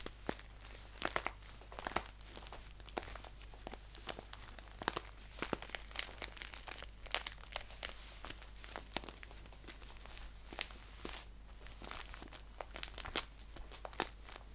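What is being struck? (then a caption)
Paper tea pouch. Fingers crinkle and scratch a green paper tea pouch, first held upright and then laid flat. Dense, crisp crackles and bright scratchy bursts come in quick irregular bunches over a steady low hum.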